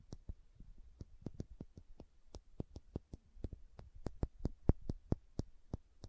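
Long nails tap the body of a small dark green glass serum dropper bottle held horizontally. A quiet, quick run of sharp, clicky taps, each with a bright tick and a soft low thump. The taps die away almost instantly with no ring.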